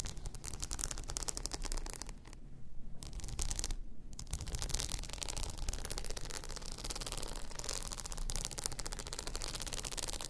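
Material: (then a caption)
Rhinestone. Long nails scratch across a hollow, blue rhinestone-covered tumbler lying on its side, producing a dense stream of bright, crackly scrapes and rapid clicks over a low rumble. The scratching briefly thins out twice early on, then continues steadily to the end.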